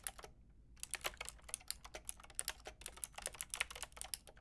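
A white-and-pink Lofree mechanical keyboard with round plastic typewriter-style keycaps and a hollow plastic case is typed on with long painted nails and fingertips. About 22 quick, bright clacking keystrokes are heard, each dying away almost instantly, with a brief pause near the start before the typing runs on steadily.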